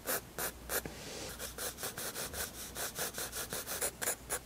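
A 7B graphite pencil held in the hand scratches and rubs in sketching strokes across a white paper page of a spiral-bound sketchbook lying flat on a wooden table. Quick, dry, bright scratching strokes repeat in a steady rhythm, each starting and stopping sharply with soft hiss between them.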